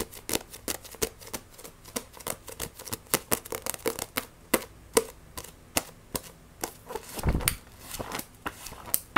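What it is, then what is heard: Paperback book tapped with nails. Long nails tap and scratch rapidly across the glossy cover of a Shaman King vol. 1 paperback manga, making a fast run of sharp, dry clicks with bright edges and quick scratchy strokes in between. Near the end there is a louder, fuller rustling thump as the book is turned onto its spine, followed by more quick taps.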